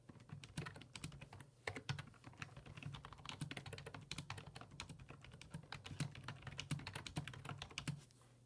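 Fingertips type steadily on the hollow plastic keys of a black, full-size plastic computer keyboard resting on a wooden desk. The keystrokes come as quick, dry repeated taps with bright clicky edges over a steady low hum, and the typing stops in the last half second, leaving only the quiet hum.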